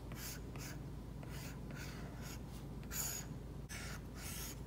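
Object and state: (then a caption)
Stylus scratching on a matte-protected tablet screen. A plastic stylus tip strokes across an iPad's glass screen fitted with a matte plastic screen protector, a flat solid surface, while painting an eye. Short bright, scratchy rubbing strokes come in repeated bursts over a steady low hum, with no clear gaps between them.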